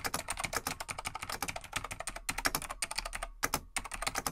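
Fingertips of both hands type on a large beige plastic vintage full-size mechanical Laser XT/AT desktop keyboard with light plastic keycaps. The keystrokes are a rapid run of short, bright, clacky clicks with a brief pause near three and a half seconds.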